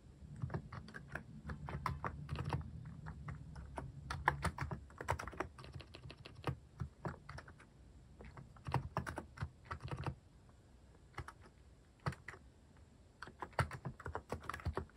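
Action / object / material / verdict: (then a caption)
tap / mechanical keyboard with plastic keycaps / plastic / none. Fingertips type on a mechanical keyboard fitted with plastic cat-shaped keycaps, producing rapid bursts of short, dry clicks and clacks that die away almost instantly. The typing comes in quick runs with brief pauses, and a quiet stretch falls around the ten-second mark before it resumes. A low hum sits underneath through the first half.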